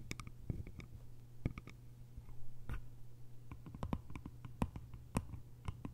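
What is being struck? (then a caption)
Small lidded bamboo canister. Long nails tap the sides and lid top of a small, round, hollow bamboo jar with a lid, then fingertips tap the lid toward the end. Quick, dry, sharp clicks with bright edges die away almost instantly. The tapping is quiet and irregular over a steady low hum.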